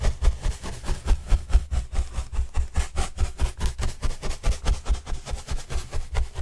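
A paintbrush is brushed in quick, rhythmic strokes across a large white printed corrugated cardboard box panel held by hand. It makes a steady series of dull, low-heavy swishes with a soft hiss, about 21 strokes at roughly two per second.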